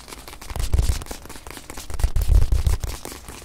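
A small white padded faux-leather watch pillow, held in the hand, is tapped quickly with long nails. The result is a stream of soft, dull, low thumps that swell twice and then fade as the pillow is held still.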